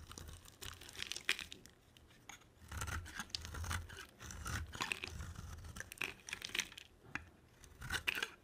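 A hand-held solid cream oval bar of soap is carved and scraped with a black-bladed utility knife, producing dry shavings. Bursts of bright, dry scraping and crackling rise and fall, with soft low thuds underneath and short quiet gaps between strokes.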